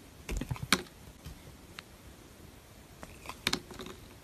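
A small metal blade shaves thin curls off the surface of a solid, opaque, hand-sized pink bar of soap held in one hand. Short, crisp scraping ticks with a bright edge come in two quiet bursts, one near the start and one near the end, separated by a soft, near-silent stretch.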